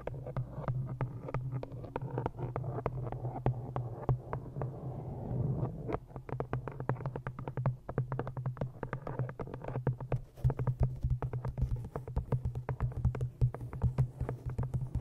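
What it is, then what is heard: Cloth-bound hardcover book. Long nails tap and scratch the patterned green cloth cover of a hardcover copy of "Ishmael," making rapid, dull, low thuds with soft scratchy brushing. A steady low hum near 120 Hz runs underneath, and the taps grow sharper and more frequent in the second half.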